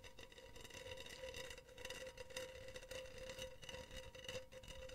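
Long teal nails scratch the wire mesh near the rim of a hollow, empty, silver wire-mesh cylindrical pen holder. The result is a continuous, bright, rasping scratch over a steady metallic ring around 516 Hz, with the level gently rising and falling throughout.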